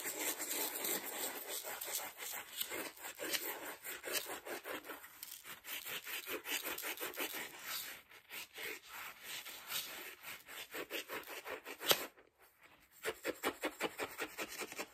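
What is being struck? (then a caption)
Ceramic mug and metal spoon. A metal spoon held in the fingers stirs and scrapes around the inside wall of a hollow, mostly empty white ceramic mug with a red flower pattern. It makes rapid, uneven, bright scraping strokes with a thin, grainy texture and no low rumble. A sharp louder click near the 12-second mark is followed by a brief pause before the quick scraping resumes.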